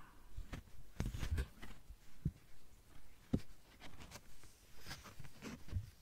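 A thin, yellow-green translucent plastic sheet about the size of a card is tapped and scratched with long nails. The result is soft, irregular, dull taps with very short ring, mixed with faint bright scratching.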